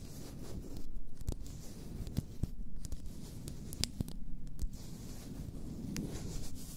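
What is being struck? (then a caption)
Glass bottle of bath salts. Long nails scratch and tap an upright, full glass bath salt bottle. The scratching is a soft, low, rumbling scrape that swells and fades, broken by sharp, bright ticks from the taps.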